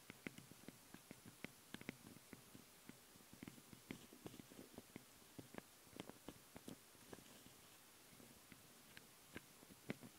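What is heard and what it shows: Long fingernails of both hands tap and scratch directly on the two metal-grille microphone capsules of a Tascam handheld recorder. Quiet, irregular sharp clicks that die away almost instantly are heard over a soft, continuous scratchy rustle, all very close to the microphones.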